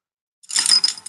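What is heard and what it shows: A money jar holding bills with loose coins down in the center is shaken, producing a bright metallic rattle and clinking of change. The jingling starts after a brief silence, swells into a dense clatter, and fades with a last light clink. The rattle reveals the coins in the jar, so the total is not a whole dollar amount.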